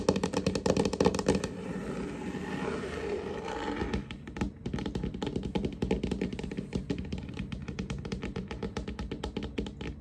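Fingertips and short nails tap and scurry across a large, solid, varnished wooden tabletop, moving toward the camera. Loud, fast, irregular taps open the clip, then give way to a softer, steadier rubbing scurry before quick, uneven tapping resumes. The knocks are dull and woody, with short, dry decays.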